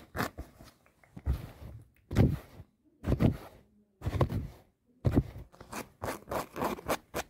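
A folded black fabric garment, soft and non-rigid, is held up and scratched and rubbed with long painted nails and fingertips. Irregular bursts of dry, scratchy rustling come in quick clusters separated by short pauses, with a low, muffled body and brief, bright scraping edges.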